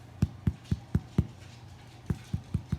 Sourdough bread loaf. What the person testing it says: pretty hollow sounding, which sounds great